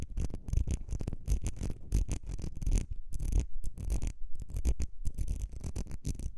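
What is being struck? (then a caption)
Small ribbed glass perfume bottle. Long red nails scratch the ribbed glass of a small, partly filled perfume bottle with a gold cap. The result is a rapid series of short, scratchy bursts with a low, thumpy body and bright hissy edges.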